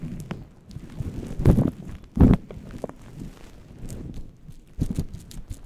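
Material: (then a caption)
Synthetic fur. A fluffy faux-fur synthetic windscreen on a microphone is scratched and rubbed with the purple-painted nails and fingertips of both hands. The result is a muffled, low, irregular rustling and scratching, broken by a few louder, boomy bursts of brushing.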